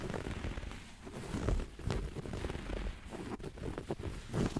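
Fingertips and short nails scratch and rub the light grey woven fabric of a soft, padded upholstered sofa armrest, held close to the microphone. The result is a steady, muffled rustling and scraping that sits mostly in the low range, with brief brighter scratchy accents throughout.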